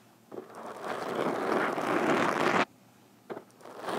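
Metal fingerpicks on both hands tap rapidly against the sides of a black foam microphone windscreen. The result is a dense, crackling scrape that swells over about two seconds and then cuts off abruptly. After a brief pause, a short burst follows, and then a rising rustle.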